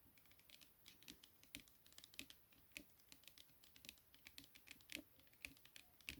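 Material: Cardboard.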